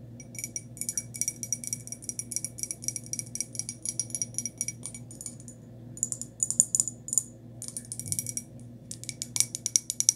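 A small white glazed ceramic cup, turned upside down, has its bottom and sides tapped with long nails. Quick bursts of light, bright clicks come in clusters with short pauses, each click dying away almost at once over a faint low hum.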